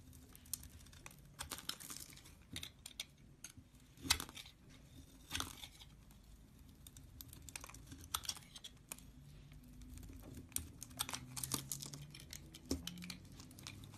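A utility knife shaves long, dry curls off a solid beige bar of soap held in the hand. The knife makes quiet, crisp scraping and crackling strokes, bright and papery, with one louder cut near the start and small clicks in between. Each sound stops almost at once, with no ring.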